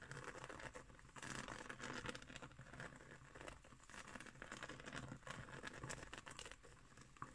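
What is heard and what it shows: Long green nails and fingertips scratch a round, flat woven straw trivet, or coaster, making a soft, dense, crinkly scratching and patter. The quiet, continuous texture swells and fades in uneven waves, with fine bright rasps over a low rustle.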